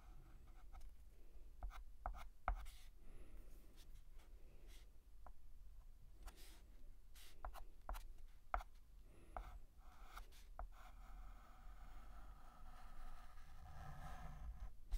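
A hand draws letter strokes with a stick of white dustless chalk on a large, flat, painted black chalkboard. Quiet, dry scratching strokes are punctuated by short, sharp taps as the chalk meets the board, over a low background rumble.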